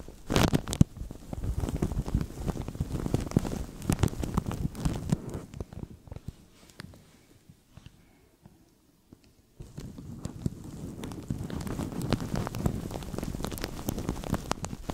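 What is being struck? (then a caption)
Thin plastic bag. A thin, translucent plastic bag stretched over a microphone is squeezed and crinkled with the fingertips of both hands, producing dense, close crackling and rustling with a heavy low-end thump. The crinkling thins out to near silence from about six to nine and a half seconds, then resumes steadily until the end.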